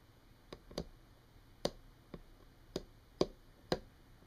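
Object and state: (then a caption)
Wooden tabletop, solid. Long painted nails tap and scratch on a solid, flat brown wood-grain tabletop. Seven short, dry taps fall at an uneven pace over a faint steady hiss, each one dying away almost at once.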